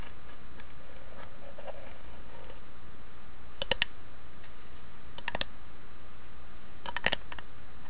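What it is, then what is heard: Carved wooden box tapped with fingernails. Long nails tap and scratch the carved, inlaid lid of a small hollow wooden box. Faint scratching early on gives way to three clusters of sharp, bright clicking taps. A steady low hum sits underneath throughout.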